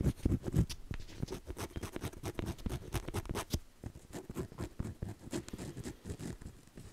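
Fingertips and nails tap and scratch the front cover of a closed navy faux leather journal held upright with its strap showing. The sound is a quick, uneven patter of soft, dull, low taps with short dry scratches, each hit dying away at once.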